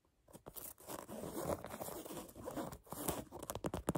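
Fingernails tap and scratch the black canvas upper of a sneaker and its metal eyelets, making a dry, crunchy scraping texture. Sharper short clicks break through near the end.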